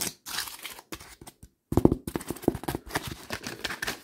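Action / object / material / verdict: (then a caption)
scrape / honeycomb cardboard sheet / cardboard / none. Fingertips and nails scratch and tap the surface of a creased, brown honeycomb cardboard sheet with a hollow core. Quick, dry papery taps and rough scratches come in rapid bursts with no ring, with a brief silent pause before the taps resume more densely.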